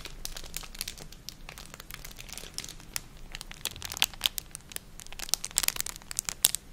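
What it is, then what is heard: Crinkled plastic packaging bag. A small, thin, empty clear plastic packet with a silvery crinkled lining is held in both hands and crinkled and rubbed with long manicured nails and fingertips close to the microphone. Dense, bright crinkling and crackling fills the clip, with many sharp crisp snaps standing out over the steady rustle.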